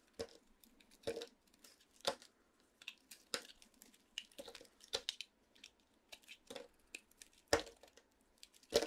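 A large utility knife blade shaves and cuts crunchy pieces from a solid white dry bar of soap with a green coating, held in the hand. Crisp, bright crunching and scraping snaps repeat irregularly with quick dry decays over a faint hiss, with the loudest cuts coming near the end.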